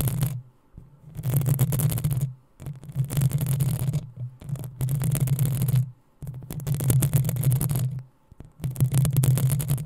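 Long nails scratch the hollow metal mesh grille of a black desktop microphone, making loud bursts of rough, crackling scraping. Each burst carries a deep, boomy low rumble with a bright hiss on top. The strokes come in repeated stretches of one to two seconds, separated by short quiet pauses.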